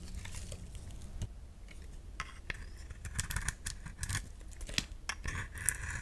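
A utility knife blade scrapes a solid round bar of soap with a painted green-metallic coating and a pink core. Repeated dry, crackly scraping strokes give bright, gritty bursts over a steady low rumble.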